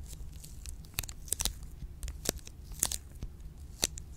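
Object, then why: Milk chocolate bar in a plastic wrapper. A solid, full Choceur milk chocolate bar in an orange plastic wrapper is scratched and tapped with long pink nails close to the mic. Sharp, bright crinkly clicks and scratches stand out over a low, soft background rumble, with several distinct taps and scrapes.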